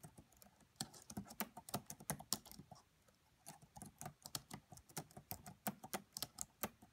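Long nails and fingertips type on the black plastic keys of a red laptop, producing soft, bright tapping clicks with short, dry decay. The quiet typing comes in irregular bursts, with a brief pause near the middle before it picks up again.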